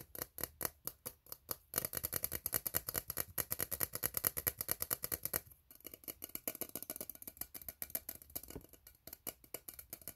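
An empty, hollow, ribbed steel tin can is tapped rapidly with fingertips and scratched with fingernails across its ribs. The result is a fast, uneven run of dry, bright metallic ticks with a hollow tone, mixed with rasping scrapes and almost no ringing after each hit.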